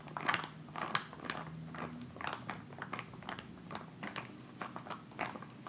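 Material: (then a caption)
Plastic. A filled white plastic instant cold pack pouch resting on fabric, then lifted, is tapped and scratched with fingertips and then crinkled. Quick, dry crackles and crunchy rustles burst out unevenly over a low, steady hum, each snapping off right away with a bright, papery edge.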